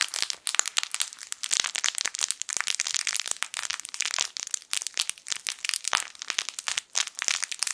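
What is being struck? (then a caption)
Plush fabric toy with plastic crinkle film inside. A yellow sun-shaped soft fabric crinkle toy, a plush sun with crinkle film inside, is held in both hands and squeezed with the fingertips. It makes dense, bright crackling crinkles in quick, uneven bursts that fade instantly with no low end.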